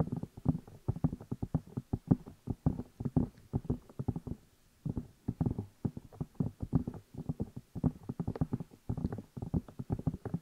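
Fingertips tap and rub the two hollow rubber or silicone ear pieces of a black binaural microphone while the hands cup them. The result is rapid, irregular, muffled low thumps and soft rustling with almost no high end, broken by a brief pause just before the five-second mark.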